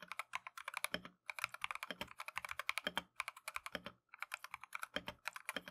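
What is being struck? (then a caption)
Plastic mechanical keyboard keys. Gloved fingertips type continuously on a Keychron V1 plastic mechanical keyboard with Tangerine switches and green/cream Matcha PBT keycaps. The result is a quick stream of short, bright clacks with almost no low end and no ring. The typing breaks off briefly at about 1.2 and 4 seconds.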